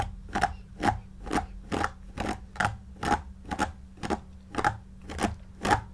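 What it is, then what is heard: Shaggy faux fur pillow being brushed. A white paddle hairbrush with pin bristles is drawn through the long, shaggy synthetic pile of a large, soft, stuffed faux fur cushion while the other hand holds the pile. About a dozen short, bristly swishing strokes come at a steady pace, each a quick, airy rustle with a faint tone near 840 Hz, over a quiet low hum.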